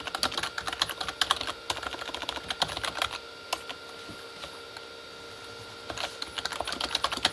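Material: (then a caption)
Plastic. Both hands type with their fingertips on a full-size, hollow Corsair K35 backlit mechanical keyboard with plastic keycaps on a plastic body. Quick, bright plastic taps and clacks come in fast bursts, then pause to a quiet stretch around the middle before resuming. Each keystroke is short and dry, with almost no ring.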